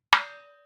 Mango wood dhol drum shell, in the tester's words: মানে জিম মারতেছে ওরা কাঠের মধ্যে টোকা দিলে